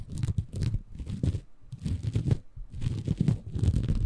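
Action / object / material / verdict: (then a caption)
scrape / bamboo fiber sponge / bamboo fiber / none. A small, soft, compressible green porous bamboo fiber sponge, held in both hands above a Tascam recorder, is scratched and squeezed by fingertips. The result is dense, crunchy crinkling and tearing textures, dominated by low, muffled rumble with faint bright fizz, arriving in waves with brief quiet gaps around one and a half and two and a half seconds.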